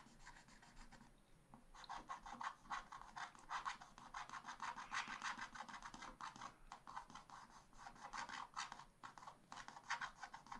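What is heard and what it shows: A wooden stylus scratches short, dense strokes across a black-coated scratch-art paper page in a spiral pad, working over an ice-cream cone motif while the other hand holds the pad steady. The result is a quiet, rapid series of dry, raspy scratches centered around 1 kHz with a bright upper edge, with a brief lull near the start before the strokes continue steadily.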